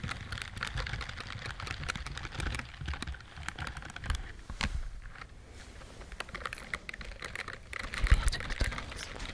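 Long nails scratch the bristled fingers of a white silicone dishwashing glove held in front of the face, making a rapid, crisp stream of clicky, scratchy ticks with a soft low rumble underneath. The scratching eases into a quieter stretch around the middle, then swells louder again near the end.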